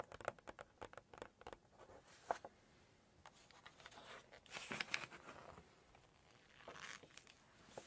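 Long nails rapidly tap and scratch the glossy photo page of a fish dish in a cookbook, making a quick run of dry, crisp clicks, followed by a rustling swish as the page is turned. The sound is quiet and close, with light, bright scratchy texture and almost no low end.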